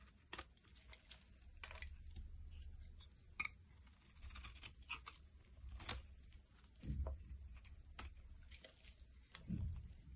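A box cutter blade carves flakes off a solid white vegetable bar soap held in the hand. The result is quiet, irregular scraping and crisp crackling cuts with bright, short transients over a soft low rumble, plus a few fuller, louder scrapes near the end.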